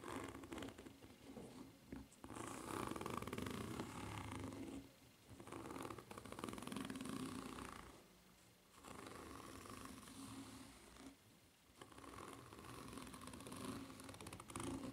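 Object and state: Foam-rubber flip-flop sole.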